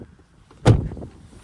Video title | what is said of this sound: 2024 Tesla Model 3 Refresh REVIEW! | There's how the door sounds from the outside. That sounds solid.